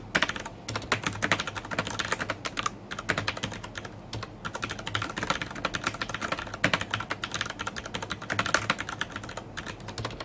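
Fingertips type steadily on a black plastic mechanical keyboard with red-backlit keycaps and Cherry MX Brown switches. The result is a quick, uneven stream of short, bright clacks and taps that stop sharply, with a faint steady low hum underneath.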